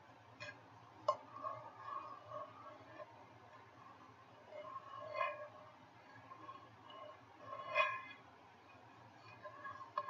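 A medium frying pan with a white ceramic nonstick interior and a metal handle sits empty while fingertips and nails tap and scratch its inside surface, then move to the handle area. Quiet, irregular taps with short, bright clinks ringing near 1 kHz are heard over soft scratching, with a few louder hits standing out.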